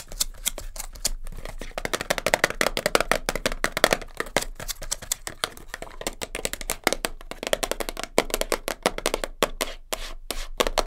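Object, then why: Small cardboard box. Long nails rapidly tap and scratch the sides and end of a small cardboard kinesiology tape box held in the hands, its top flap possibly open. The result is a dense, fast run of short, dry, papery clicks with scraping between them, sounding hollow in the midrange with a bright edge and almost no ring.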